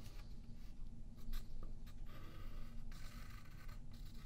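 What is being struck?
Graphite pencil on a paper sheet over a wooden table.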